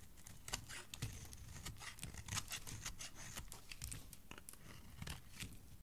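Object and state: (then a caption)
Bar of soap being carved. A palm-sized, solid green bar of soap, held in one hand with dark painted nails, is shaved and scraped with the edge of a thin metal blade. Quiet, rapid strokes make a dry, crisp tearing and crinkling sound with bright, scratchy bursts over a soft low thump. Green soap curls pile up below.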